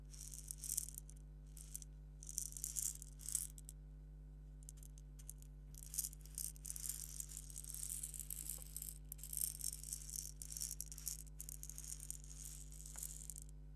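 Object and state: Plastic egg shaker.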